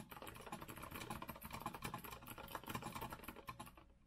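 Fingertips of both hands type continuously on a compact retro Azio mechanical keyboard with a rose-gold metal frame and round plastic keycaps, resting on a wooden desk. A rapid, steady stream of short, clacky key clicks with a bright edge plays over a faint low hum.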